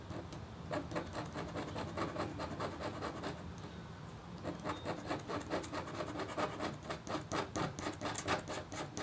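A red-handled, metal-tipped stylus scratches across a flat, black-coated copper foil scratch art board. It makes a quick, uneven series of dry, bright scraping strokes with a short lull near the middle before the strokes pick up again.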